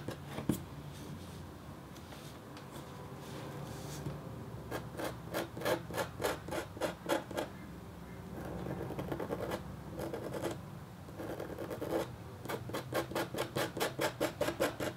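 The metal tip of a red stylus scratches a flat, thin, solid black-coated copper-foil scratch art board. Quick bursts of short, dry, raspy strokes alternate with steadier stretches of continuous rubbing. The scratching has a gritty midrange tone with bright edges and fades almost instantly after each stroke.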